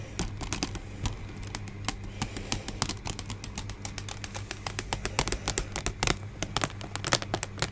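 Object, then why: Pleated paper hand fan. Fingertips and nails tap and rub a rainbow-coloured pleated paper hand fan with a white scalloped base, held up close. Quick, bright crinkling and rustling ticks from the folded paper come in rapid, uneven bursts over a steady low hum.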